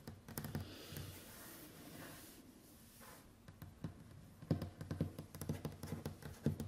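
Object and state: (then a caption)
Solid wooden tabletop. Long white acrylic nails tap and drum in sequence across a large, solid, varnished wooden tabletop. Soft, low knocks mix with sharp nail clicks, arriving in irregular bursts about twice a second. A quieter, scratchy stretch in the middle gives way to louder, denser drumming toward the end.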